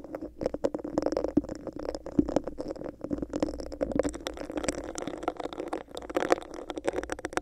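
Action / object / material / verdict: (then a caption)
scrape / textured plastic cup / plastic / none. Long nails scratch and tap on a hollow, empty, clear bumpy plastic cup held over a microphone. Rapid, dense clicks and scrapes ride on a steady hollow resonance around 300 and 500 Hz, with brief bright ticks throughout.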